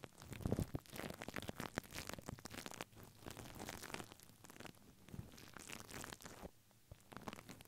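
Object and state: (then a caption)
Paper tissue over a microphone, brushed. A plastic mascara spoolie brush, held in the fingers, brushes and scratches across white paper tissue stretched over a microphone head, with long pink nails holding the tissue in place. The result is a dense run of close, crinkly scratching and rustling with soft rumbling low-end and bright crackle, rising and falling without pause.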